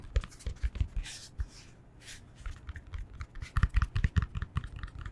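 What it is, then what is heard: Yoga block, fingertip tapping. A yoga block is tapped with the fingertips in quick, irregular bursts of soft, dull, low thuds with almost no ring. Two brief brushing sounds stand out between the taps.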